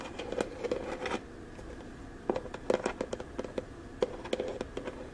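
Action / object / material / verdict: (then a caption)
scrape / small hollow plastic storage box with ribbed sides / plastic / none. Long nails scratch, rub and tap along the ribbed sides and lid of a small hollow teal plastic storage box with a lid, held in both hands. Quick, dry scratching gives way to a spread of sharp, hollow plastic taps with a short ring and a mid-pitched resonance. The sounds stay quiet and close, with faint rustling between them.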